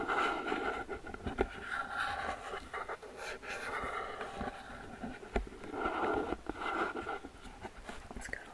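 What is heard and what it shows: Long fingernails scratch and tap along the top edges and sides of a medium, hollow, open-top gift box made of flower-printed paperboard. The result is a steady, dry scratching rustle with a papery midrange body, broken by brief, sharp taps that die away almost instantly.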